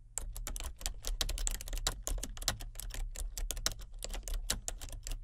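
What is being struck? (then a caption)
Plastic computer keyboard. Both hands type steadily on a full-size plastic computer keyboard with color-changing backlit keys, using fingertips and nails. The result is a rapid, uneven stream of short, bright plastic clicks and taps with almost no ring, over a steady low hum.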